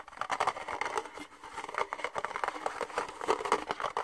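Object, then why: Thin ribbed plastic cup. An empty red disposable plastic party cup with thin ribbed walls is held in the hands and tapped and scratched with fingernails. It makes a quick, continuous run of light, dry clicks and scratchy patter, centered in the mids with no low end and almost no ring.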